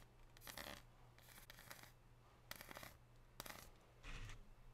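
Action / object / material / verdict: scrape / dark chocolate bar / chocolate / none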